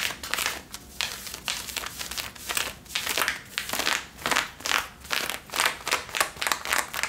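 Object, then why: Cotton denim jeans. Long nails scratch the back pockets and waistband of worn blue cotton denim jeans, making repeated rough, bright scraping strokes. Each scratch swells and fades with a crinkly, dry texture and almost no low end.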